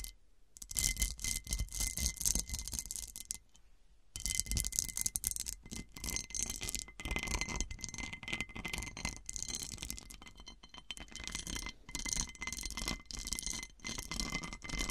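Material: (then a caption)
Glass. Long dark nails and fingertips scratch and tap the faceted top and rim of a large, round, textured cut-glass serving dish turned upside down and hollow. The result is a dense, bright rasping of rapid clicks and scrapes, with a faint steady ring near 2 kHz. There are brief near-silent pauses near the start and around three to four seconds in.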